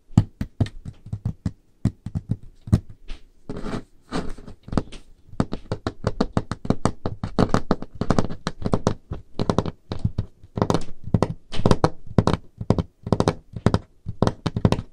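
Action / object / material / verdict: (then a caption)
tap / wooden table top / wood / none. Painted nails and fingertips tap on the surface of a large, solid, dark-stained wooden table. The taps are short and dry, with a low, dull thud and almost no ring. They come in quick, uneven bursts and rolls across the clip, with brief pauses between them.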